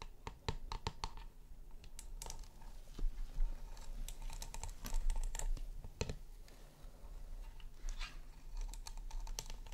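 Fingertips and nails tap and scratch the frosted glowing top and chrome rim of a round, hollow chrome LED light base. Quick, dry, bright clicks come in irregular bursts, with brief scratchy passages over a steady low hum. Each tap dies away almost instantly.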